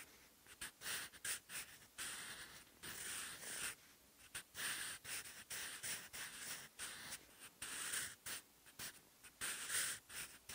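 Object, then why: Graphite pencil on a textured paper notebook page. A blue-ended wooden pencil writes vertical Korean handwriting on a textured cream notebook page, scratching graphite across the paper fibers. Quiet, bright, dry scratching comes in short, separate strokes with brief pauses between them, and each stroke stops almost at once.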